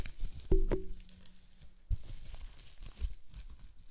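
Fingertips squeeze, pop and crinkle a small piece of green-tinted plastic bubble wrap with small air bubbles. Sharp pops with a brief tonal ring stand out over a soft, continuous crinkling and rustling, with dull low thumps as the sheet is handled.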